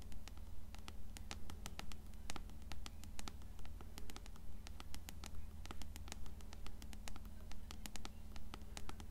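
Long nails tap and scratch the cover and spine of an upright, closed blue paperback copy of Coraline. Quick, fairly steady taps with crisp, bright clicky scratches sit over a constant low hum.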